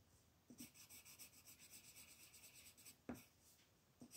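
A red wooden colored pencil rubs over a flat white paper coloring page lying on a table in continuous shading strokes. It makes a quiet, bright, rapid scratching from about half a second to nearly three seconds, followed by two short, sharper knocks near the end.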